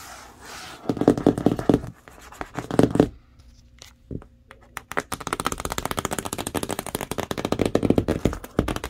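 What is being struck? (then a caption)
Large corrugated cardboard box. Long acrylic nails and fingertips tap fast on the flat side of a large, hollow, printed corrugated cardboard TV box. Bursts of dull, hollow drumming with a low-mid tone sit between short quiet gaps with a few isolated taps, then settle into steady rapid tapping to the end. Each tap is short, with almost no ring.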